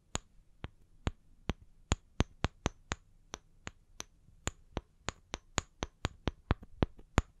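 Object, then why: Small wooden log slices. Long painted nails tap the flat cut faces of two small, solid, round wooden log slices with bark edges, one held in each hand. About 23 short, dry, bright clicks sound at an uneven pace, each dying away at once with no ring, and some taps land louder than others.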